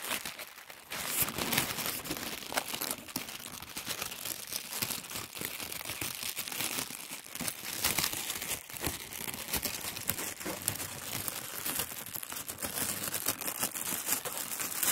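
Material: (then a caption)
Paper. Thin white tissue paper is unrolled and spread out by hand, crinkling continuously as it opens. The dense, bright rustle carries little low end and fills the full fifteen seconds without a break.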